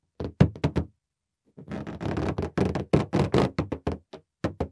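A large inflated green latex balloon, hollow and air-filled, is held up and tapped with fingertips, giving hollow, low, dull thunks that die away almost instantly. A quick burst of taps is followed by a short silence, then a longer, denser run of taps that thins out toward the end.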